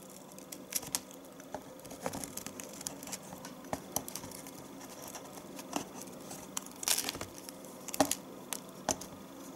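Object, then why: Bar of household soap shaved with a small knife. A small metal knife with a light handle scrapes and shaves curls off the edge of a solid, hand-sized, pale yellow bar of household soap held in one hand, letting them fall into a plastic tub below. Quiet, dry scraping runs throughout, broken by many short, bright clicks and crisp shaving scratches.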